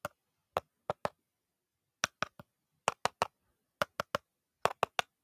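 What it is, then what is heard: Empty aluminium soda can. An empty aluminum can that once held grape soda, and still smells of it, is tapped for ASMR, giving roughly fifteen short, dry metallic ticks in loose clusters of two or three. Each tap is bright with a tone near 700 Hz and dies away almost at once, with quiet gaps between the groups.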